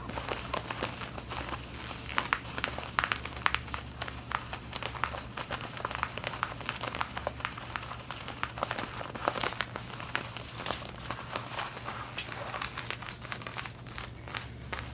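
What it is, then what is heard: Denim fabric being scratched. Long red-painted nails scratch the back yoke and pockets of worn light blue denim jeans, making a steady run of dry, crinkly scraping strokes. Many short, bright scratches come one after another over a constant low hum.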